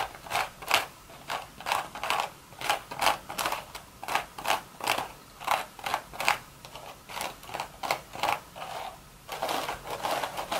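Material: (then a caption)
Straw. Long red nails scratch across the hollow crown of a beige woven straw hat. The result is a quick, irregular series of dry, crackling rasps that are bright and papery, with almost no low end, each stroke stopping abruptly.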